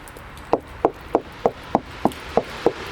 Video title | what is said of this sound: 1960's MOD house | the wall sounds like this ... which is another clue it's got external insulation walls don't normally sound like that